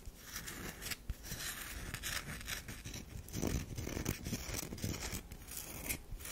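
Long nails scratch a round, solid bar of soap with a powdery scraped surface, held in the hand. Dense, rapid scratching and scraping strokes run throughout with a dry, gritty texture, brightening at times into sharp hiss over a low rumble, with no talking.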